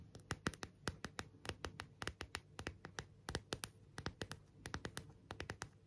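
Long nails tap and scratch the back and rhinestone-lined edges of an empty, clear plastic phone case. Some thirty quick, crisp clicks land at an uneven, unhurried pace, each dying away almost instantly. Soft scratchy rustle and a low background murmur fill the gaps between them.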